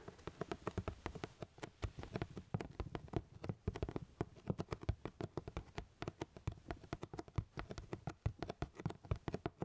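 Fingertips tap rapidly and steadily, dozens of times, on the flat sides of a medium black cardboard camera box. The box is closed with its contents inside and held up in both hands. Each tap is a short, dry, hollow thud, mostly low in tone, with almost no ring and little brightness.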